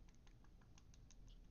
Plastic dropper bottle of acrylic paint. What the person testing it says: shaking it so hard you can hear it slloshing in there